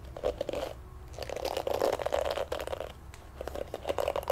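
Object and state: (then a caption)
Plastic bristle hairbrush. Fingertips and thumbs rub and scratch across the dense black plastic bristles of a pink plastic oval hairbrush held in both hands. The result is a soft, continuous crackly scratching that swells and fades in bursts, with a mid-range tone and brief brighter ticks.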